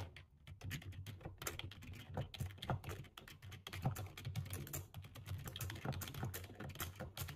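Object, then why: Plastic computer keyboard. Fast two-handed fingertip typing on a black low-profile plastic computer keyboard with a hollow body, heard up close. A dense, steady stream of quick key taps, each a short, bright click over a hollow low thump that dies away almost at once.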